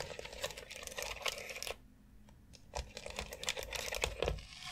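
Long acrylic nails tap and scratch across the rounded knobs and central dome of a white, hollow plastic foot massager board. The result is a dense run of quick, bright clicks and scraping rattles that goes quiet for about a second in the middle, then picks up again with sharp taps.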